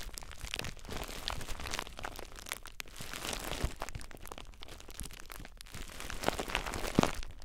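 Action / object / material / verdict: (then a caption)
scrape / plastic bubble wrap / plastic / none. Clear plastic bubble wrap bundled around a recorder is squeezed by fingertips with short nails, popping the bubbles. A steady, dense crinkling crackle runs throughout, broken by a few sharper, louder pops near the middle and toward the end.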